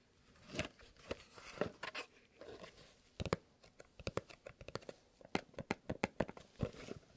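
Gloved fingertips and nails tap and scratch a small, long, hollow kraft cardboard "Fox" box held in both hands. Quiet, dry raps with a hollow mid-range knock are interspersed with soft crinkly scratching. The tapping speeds up into a quick, uneven run of sharp, short hits in the second half.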